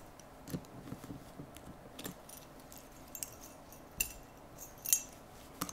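Cotton-gloved fingers work and tap the plastic latches and lid edge of a large, hollow, black hard-plastic rifle case lying across a lap. About eight quiet, bright clicks and taps are heard at irregular intervals, each dying away almost instantly.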